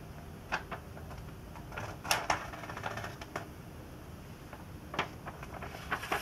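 Fingertips rest on, bend and lift the thin glossy pages of an open 2002 Sports Illustrated magazine, the last issue of that year with vintage ads, turning a page while a marker lies unused to one side. Short, bright crinkles and crisp paper snaps stand out over a soft, steady rustling hiss, with the sharpest crackles coming in quick clusters.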